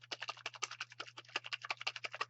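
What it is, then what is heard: Paint bottle shaken to mix. A bottle of white acrylic paint is shaken to mix it while painting a face stamp, giving about 18 quick, bright rattling clicks in a steady rhythm over a faint low hum. The sound shows the liquid paint inside is being mixed.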